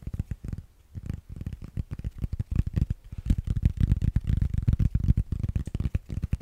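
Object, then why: Foam yoga block. Fingernails scratch and tap a solid grey foam yoga block held in the hands. The result is a rapid, irregular run of dull, muffled thuds and soft scratches, low and dry, with no ring after each hit.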